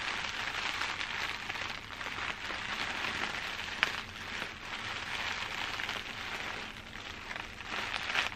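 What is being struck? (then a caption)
Plastic bubble wrap. Clear plastic bubble wrap, held up close, is tapped and scratched with long dark nails. It makes a steady, dense crinkling and rustling that is bright and hissy with little low end, with one sharper tap standing out partway through.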